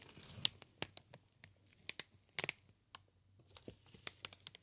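A green inflated plastic air cushion packaging sheet is squeezed and crinkled by hands, giving a quiet, irregular run of sharp crackles and crinkling snaps. The sound is bright and high-pitched with almost no low end, each snap dying away almost instantly, with a denser cluster of crackles around the middle.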